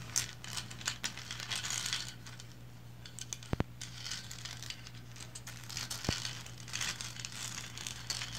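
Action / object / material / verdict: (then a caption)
scrape / painted resin figurine / resin / none. Long blue nails scratch the lower body and base of a small, upright, painted resin lighthouse figurine, making soft, bright, crinkly scratching that swells and fades in bursts. A few sharp clicks stand out, and a steady low hum runs underneath throughout.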